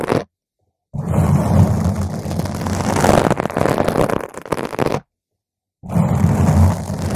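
Long pointed nails of both hands scratch a round purple foam microphone cover, producing dense, rumbling, scratchy friction that is heavy in the low end. The scratching comes in three bursts separated by brief silences: a short burst, a long sustained stretch, and a final burst.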